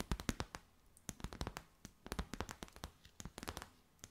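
Long white nails tap and crinkle a clear, stiff, empty plastic bag with gold flecks. The result is a quiet, rapid, irregular run of sharp, crisp clicks and crackles with bright, brittle edges, each dying away almost instantly.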